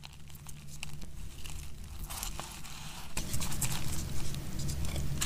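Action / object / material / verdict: scrape / bar of soap cut with a knife / soap / none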